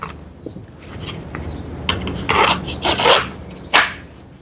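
A BG Knives N695 Thai e-nep knife is pushed into its sheath while being weighed together with it. Bright, dry scraping rubs build to a sharp click near the end as the blade seats, showing a very tight, snug fit.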